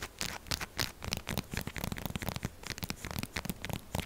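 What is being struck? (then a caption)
Bar of soap. A solid purple soap bar is scratched and tapped with long acrylic nails, making fast, dense scratching with rapid dry taps and crackly, tearing-like textures. The sound is short and clicky with little ring, combining low thuds and bright scraping.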